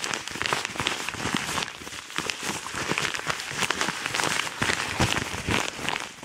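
A yellow kraft paper padded mailer envelope with a BM3 barcode label is crumpled and scratched fast with both hands. It gives a dense, continuous run of bright, crackling paper rustles and sharp scrapes with little low end, steady throughout and easing slightly at the end.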